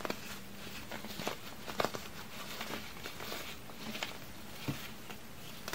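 Small solid pink chalky pieces of baking soda and cornstarch are crushed and rubbed between fingertips with long red-painted nails over a pile of powder on a white board. Soft, dry crumbling and gritty scratching run throughout, broken by several short, sharp crunches with bright edges above a low, steady background hum.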